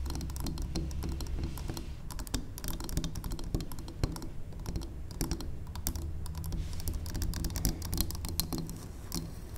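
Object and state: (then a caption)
Wax pillar candle. Long acrylic nails tap rapidly and continuously on the faces of a large, square, solid, cream-colored wax pillar candle. The taps are dry, clicky and bright, like keyboard typing, with almost no ring after each one. A steady low hum sits underneath throughout.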